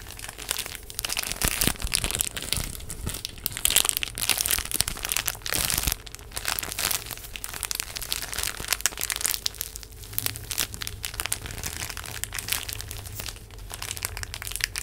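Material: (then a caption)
Plastic film. A full, small rectangular pack of paper tissues in a printed plastic wrapper is held in both hands close to the mic, and fingertips and long nails crinkle and scratch it. The result is a steady, bright crinkling and crunching with dense, sharp plastic crackles that fade quickly.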